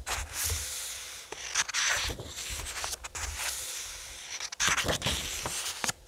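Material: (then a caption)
Paper. Fingertips rub along the paper pages of a thick paperback graphic novel resting on a table and flip them over. Bright, papery rustling and swishing sweeps run through the clip, broken by short, sharp snaps as pages turn.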